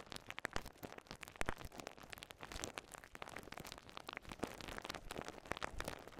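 A small ball of clear polyethylene bubble wrap with air-filled bubbles is held in both hands and squeezed, its bubbles popped with fingertips and thumbs. Rapid, irregular sharp pops and snaps burst out amid constant crinkling and rustling of the plastic. The sound stays quiet and dense throughout, with brief bright cracks that die away almost instantly.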